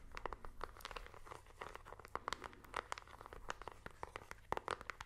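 A small plastic IR remote control with colored rubber buttons is tapped with a fingernail and its buttons are clicked in a quick, irregular run. The short, dry clicks centre near 900 Hz with bright, crisp tops, and sit over a faint low hum.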